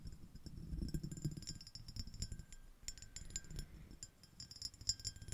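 A small, clear, iridescent, ribbed shell-shaped glass dish, empty, is tapped with the long acrylic nails of both hands. Quick, dry, bright clicks and clinks come in irregular bursts over a low, soft rumble. Each tap dies away almost at once.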